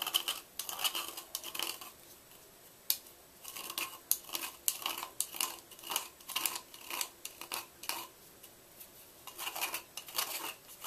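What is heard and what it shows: A white gym chalk block, carved hollow and held by hand, is scraped inside with a red-handled knife. Bursts of dry, bright scraping come and go with short pauses between them, with almost no low end.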